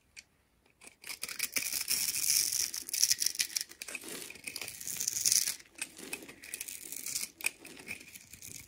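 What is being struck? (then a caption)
Bar of soap. A blue-handled utility knife cuts and scrapes the end of a solid red and white striped bar soap, held in one hand and pre-scored into a grid, into crumbling cubes. The sound is a dry, bright, crackly scraping with rapid tearing and crumbling ticks that swell and fade over several seconds. There is almost no low end.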